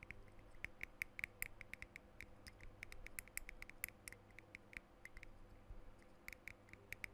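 Fingernails tap the metal cap and glass body of a blue glass perfume bottle in an irregular series of quick, light clicks. Each tap is sharp and dry, with a bright ping near 2.2 kHz that dies away almost instantly, over a faint low background hum.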